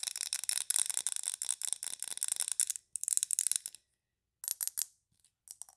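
Long nails tap rapidly on a large glass candle jar filled with green wax as it is tilted in the hands. The quick, bright clicks come in dense runs, then shorter bursts after brief pauses, each tap dying away almost instantly with no ringing.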